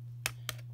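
A set of reusable plates is tapped, giving two short, bright clicks that die away almost at once. A steady low hum runs underneath throughout.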